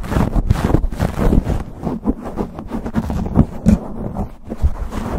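Fingertips and nails of both hands scratch and rub fast over a black foam windscreen on a microphone. The result is a dense, muffled, low rumbling scrape with quick, uneven bursts of rubbing that continue throughout and carry almost no high content.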